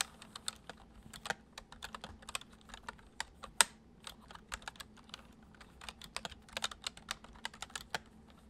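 Fingertips type gently on the central keys of a white plastic computer keyboard, producing about 26 crisp, short, bright clicks in an uneven rhythm. Each keystroke dies away almost instantly over a faint, steady low hum.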